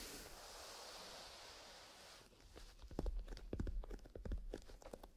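A small, soft black grained-leather pencil case with a metal zipper, possibly holding pencils, is held in both hands by fingertips in fingerless gloves and squeezed and rubbed along its sides. A steady, airy rubbing hiss fills the first two seconds. It then gives way to irregular soft creaks and muffled taps with a low, thumpy body.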